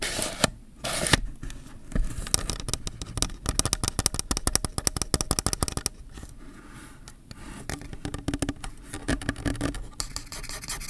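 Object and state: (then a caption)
Plastic camera zoom lens. Fingertips and nails scratch and rub the ribbed zoom ring and rear mount of a hand-sized, hollow black plastic Canon zoom lens held in both hands. Dense bursts of fast, dry scratching and clicking ticks come in quick runs with brief pauses between them. Above them sits a bright, hissy texture with a low, hollow body underneath.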